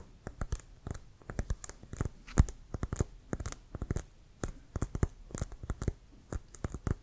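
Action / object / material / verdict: tap / leather-covered American football / leather / none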